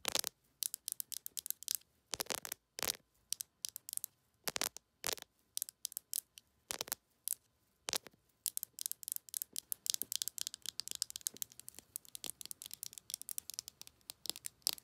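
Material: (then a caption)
Metal. Long acrylic nails tap and scratch a small, capped, rose-gold metallic lipstick tube with a star pattern, hollow and closed, held in the palm. The result is sharp, bright, clicky taps with almost no ring or low end, spaced out at first and then turning into fast, dense tapping and scratching toward the end.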